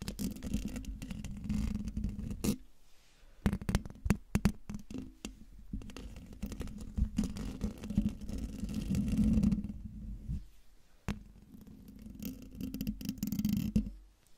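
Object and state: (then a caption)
Metal mesh microphone grille being scratched. Fingertips and nails scratch the hollow domed metal mesh grille of a silver microphone, producing a dense, low, rumbling scrape with a steady hum. Sharp clicks and taps break through, with brief quiet gaps between bursts of scratching.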